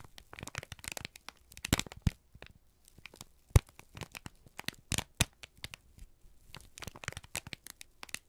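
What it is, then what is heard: Crumpled kraft paper sheet. A single thin, crumpled sheet of brown kraft paper is held in both hands and squeezed and crinkled with the fingertips and thumbs. It gives off dense bursts of crisp, crackling rustles with sharp snaps, some louder pops standing out, separated by brief quiet gaps.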